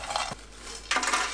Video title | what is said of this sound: 멸치는 무조건 많이 사서 이렇게 만드세요. 한통 가득 담아도 남아나질 않습니다.🥇 1년동안 불 안 쓰고 1분안에 멸치조림 완성하는 법. 평생 써먹는 멸치장아찌 맛있게 만드는 법 | เมื่อปลากะตักชนกันคุณควรได้ยินเสียงกรอบแกรบ